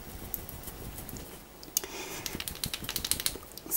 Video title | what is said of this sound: My Makeup Collection 2019 - Beauty Room Tour! | you have to like shake it so you can hear like you there's something in here